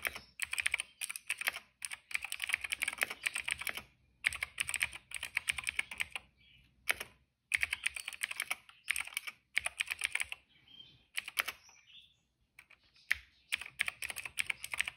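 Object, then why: Plastic mechanical keyboard. Fingertips of both hands type on a retro-style cream plastic mechanical keyboard with black and purple keycaps. Quick bursts of crisp, bright clacks, centred around 2 kHz, are broken by short pauses. Each keystroke stops dead with no ring, and faint soft scuffs fill some of the gaps.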